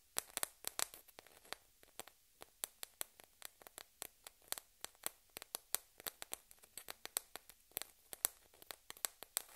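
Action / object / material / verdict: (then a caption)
tap / thin plastic table-tennis ball / plastic / none. A single small, hollow, white plastic table-tennis ball is held between fingertips and tapped and scratched with long red-painted nails. About forty sharp, bright clicks come at an uneven, quick pace, with faint scratchy rustle between them. Each click is crisp and high-pitched and dies away almost instantly, with no low-end body.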